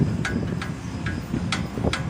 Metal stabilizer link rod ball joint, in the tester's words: tumutunog siya. Isang dahilan yan kung bakit tumutunog, lalo pag nalubak.